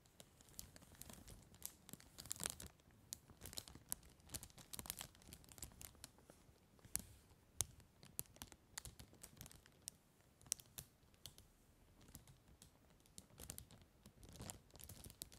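A large, clear, thin, empty cellophane bag is held and pressed by fingertips and palm, crinkling and crumpling. Quiet, dense bursts of sharp, bright crackles come and go throughout, with brief louder crunches and a soft low rustle underneath.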